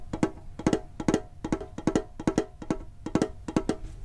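Fingertips tap quickly on a hollow red and blue printed metal Pokemon card tin with a lid. The taps come in rapid clusters of two or three, each a short, dry, hollow knock with a mid-low tone and almost no ring, repeating at a brisk, uneven rhythm.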